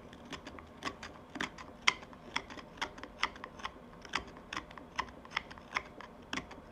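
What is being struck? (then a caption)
Wooden tobacco pipe bowl, steel knife. A steel carving knife shaves and scrapes the outer surface of a small, hand-sized solid wooden tobacco pipe bowl with a black stem attached, held in one hand. A steady run of short, dry, crisp whittling cuts snaps out with bright, high edges centred around 2 kHz. Each cut stops almost instantly over a quiet background.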